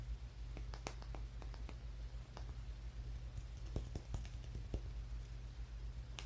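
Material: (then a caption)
Stone. A small, solid dark brown rock with rough edges is held in one hand and tapped with the fingertips and nails of the other. Quiet, short, dry clicks and taps come at an uneven pace, each fading almost instantly, with a few brighter nail clicks. A steady low hum runs underneath throughout.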